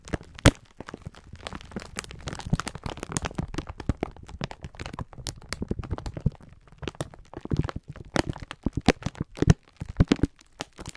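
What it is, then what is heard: Plastic-wrapped pack of sponge scourers being crinkled. A clear plastic-film pack of sponge scourers is held in both hands while the fingertips squeeze and rub it. Dense, crisp crinkling and crackling of the plastic comes in rapid bursts over a low, soft rustling body throughout.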